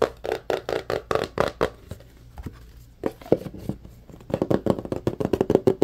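Fingertips and nails tap and scratch the sides of a small, hollow white cardboard phone box, producing a rapid series of short, dry, hollow knocks centered in the midrange around 390 Hz. A quieter patch of soft scratching and sparse taps in the middle gives way to a dense run of taps again toward the end.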